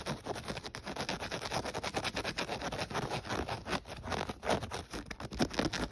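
Fingertips and short nails quickly scratch and tap across the black knit-mesh upper of a hollow black-and-white athletic shoe lying on a dark blanket. The result is a dense, continuous run of soft, dry scratching with fast light taps throughout.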